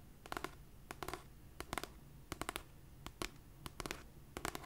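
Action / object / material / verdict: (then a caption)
tap / paperback book with paper cover / paper / none. Long nails scratch and tap the cover and edge of a cream paperback copy of "It Ends With Us," a solid paper book. Short, crisp, bright clicks arrive in quick clusters of two or three, each dying almost instantly, over a faint low background hum.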